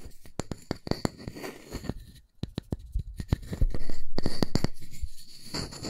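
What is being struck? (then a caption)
Round wooden disc. A solid round wooden disc is held in one hand while fingertips and nails scratch and tap its face. Quick, short, dull taps land at a fairly steady pace over a soft scratchy hiss. Partway through, a louder, steadier scraping wash takes over.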